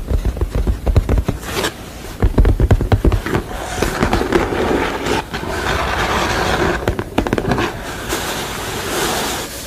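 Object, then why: Painted canvas. Long pale manicured nails and fingertips tap and scratch across a flat painted canvas artwork of a sugar skull lying on a table, its thin, dry painted surface. Quick, dull low taps come in clusters, broken by stretches of scratchy rustling across the canvas.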